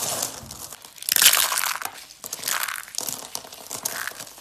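Yellow and brown dry soap curls are squeezed and crumbled in cupped hands. Dense, bright, crisp crackling and crunching come in uneven bursts, with the loudest surge a little after the first second and another near the middle. There is almost no low end, and each crackle stops dry with no ring.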